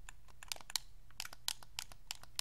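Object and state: Plastic game controller buttons clicking.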